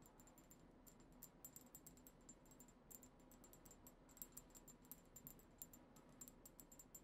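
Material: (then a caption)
Glass. Long acrylic nails on both hands rapidly tap a tall, cylindrical, dark-tinted glass perfume bottle with a black cap that holds liquid. The result is a quiet, steady stream of short, bright clicks with a high, glassy ping that dies away almost instantly, over a soft low hum.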